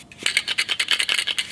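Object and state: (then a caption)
Hollow wooden duck decoy with a loose metal tag inside. A hollowed-out carved wooden duck decoy, made of balsa and an unknown found wood, is shaken so the metal dog tag inside rattles. About a dozen quick, bright clicks land in steady succession. The rattle is the sound of the tag loose inside the hollow body.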